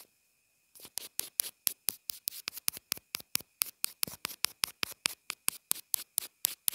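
The graphite tip of a wooden pencil taps and scratches on the small white hollow plastic inline remote and mic of a pair of wired earphones, which is taped down on a cloth surface. After a brief silence, about 28 quick, dry, bright scratchy strokes follow in a steady rhythm, each dying away at once, with almost no low end. A faint steady tone sits under them throughout.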